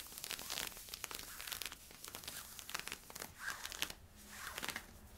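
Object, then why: Polyester-spandex stretch leggings fabric. Fingertips and nails scratch worn camo polyester-spandex stretch leggings at the hip and back. The result is a quick run of bright, dry scratching and crinkling strokes, mostly high in tone with little low end. Each scrape cuts off almost at once.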